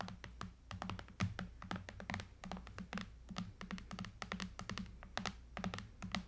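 Long nails tap and scratch quickly along the top edge and bezel of a silver Apple iPad lying flat, a thin solid tablet with an aluminum frame and glass screen. Dense, rapid, sharp clicking taps with bright, very short decays sound over a steady low hum.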